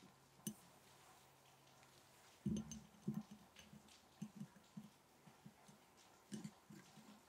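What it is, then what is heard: Glass jar of matches tapped. A glass mason jar holding match sticks is tapped in a slow, irregular series of soft knocks. Each tap is short and dull, with a low hollow tone and a faint bright click, fading quickly over a quiet hiss between taps.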